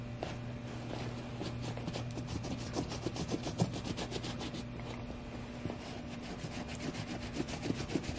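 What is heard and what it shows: A small bristle suede brush scrubs the side of a tall, tan, hollow suede sheepskin Bailey Button boot with a soft nap surface. It makes quick, uneven raspy brushing strokes, about three or four per second. A steady low hum sits underneath throughout.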